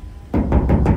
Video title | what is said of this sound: 理想の釣り車を求めてエブリィの天井を断熱する（デットニング） | いろんな場所すごい響くしすごい歪んでるよね